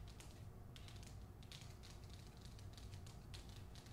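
Long nails tap the front cover of the hardcover book "The Hacienda," a paper dust jacket over cardboard, in quick bright clicks that come in clustered bursts. The tapping stays quiet and even over a steady low rumble throughout.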